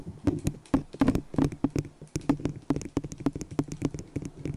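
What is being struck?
Small disposable plastic cup tapped with fingernails.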